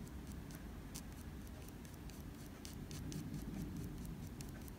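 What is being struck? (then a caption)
Pencil on drawing paper. A light-blue mechanical pencil held by the fingertips makes fast fur strokes on a sheet of drawing paper. Quick, soft scratches flick in as brief bright bursts over a steady low rumble, at a quiet, even level throughout.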